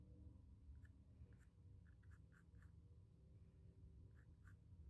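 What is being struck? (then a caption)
Stretched cotton canvas panel with pencil. A pencil scratches sketch lines across the textured primed surface of a small square white stretched cotton canvas panel. Soft, brief scratchy strokes come in short bursts over a steady low rumble, and the whole clip stays very quiet.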